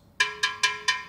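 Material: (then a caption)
Earthenware. A fired earthenware Palissy-style plate is tapped four times, each tap giving a clear bell-like ring with bright high overtones that fades quickly. The clean ring shows the plate is not cracked and has no fractures anywhere in it.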